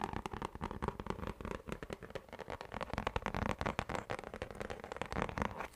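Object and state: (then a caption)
Plastic lid. A round orange plastic lid with a textured surface is tapped and scratched with fingertips and nails. Rapid, dry taps and scratchy strokes follow one another closely, each dying away almost instantly, with a dull low body and little bright edge.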